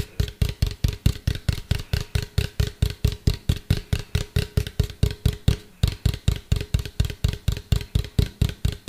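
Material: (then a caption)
Plastic. A medium, hollow, white plastic cylindrical container is held upright and tapped with fingertips and nails. About 40 quick, hollow taps sound in a steady, fast rhythm, each a deep, boomy thump with a bright, clicky edge that dies away almost at once, with a brief pause near the six-second mark.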